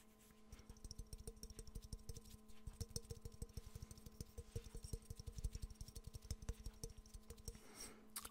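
A hollow, empty, yellow glazed ceramic Pikachu mug is held in the hands and rapidly tapped with the fingernails. This produces a quick, continuous run of short, dry clicks and soft knocks over a faint steady hum. Each tap dies away almost at once, with the energy sitting mostly low and only a little high brightness.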